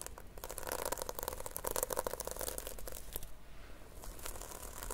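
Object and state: Sequin-covered notebook being scratched.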